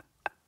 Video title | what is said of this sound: Kroatiens Süden: Dalmatien, Split und Dubrovnik an der Ostküste der Adria - Wunderschön - ARD Reisen | wenn der Stein an einer Ader im Inneren gebrochen ist, dann klingt er anders